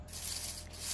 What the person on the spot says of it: you can hear how crispy that is